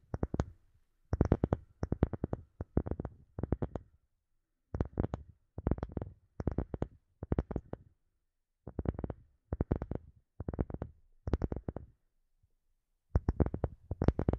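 A wooden object is tapped for ASMR in quick bursts of short, dry taps separated by brief pauses. The taps are mostly low and thuddy, with a bright clicky edge and almost no ring.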